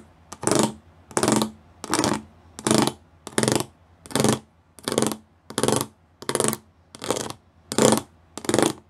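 Fingertips and nails tap across a flat grey plastic sheet covered in rows of small raised square pyramid studs. About twelve evenly spaced bursts of dense, bright clicking rattle sound, each lasting under half a second with a faint low hum beneath, separated by near silence.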